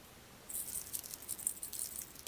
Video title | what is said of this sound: TELETUBBIES Camping Compilation Toys Po and Laa Laa | he's like a soul shaker there's lots of sand still inside